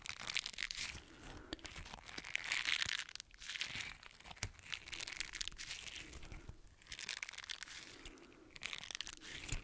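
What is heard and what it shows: A small green silicone bristle scrubber, solid and flexible, is squeezed and crumpled in one hand with the fingertips. It makes bright, crackly crinkling and crunching in uneven bursts, with sharp little snaps and almost no low end.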